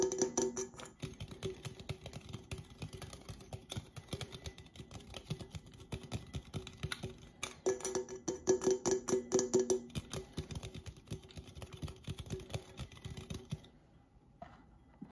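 A hollow red Coca-Cola aluminum drink can, held upright and sideways in both hands, is tapped rapidly on its side wall with fingertips and nails. The result is a dense, irregular patter of short, bright metallic clicks with a faint ringing tone near 375 Hz. The tapping runs for about 13.5 seconds and then stops, leaving a few faint clicks.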